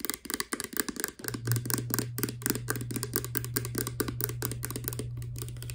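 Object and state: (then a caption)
Plastic pump bottle tapped with nails. Long nails rapidly tap the sides and base of a clear plastic Garnier Fructis hair serum pump bottle with a green pump, hollow and partly filled with liquid. The taps are quick, dry, irregular clicks with almost no ring. A steady low hum joins after about the first second.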